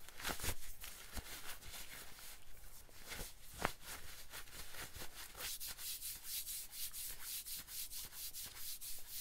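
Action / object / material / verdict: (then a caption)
scrape / cotton denim jacket / cotton denim / none. Fingertips and nails scratch and rub a light-wash cotton denim jacket worn on the body, working over the fabric on the chest and sleeve. Quiet, steady strokes of bright, dry scratching follow one another in a loose rhythm, each a short rasp over a soft, low fabric rustle.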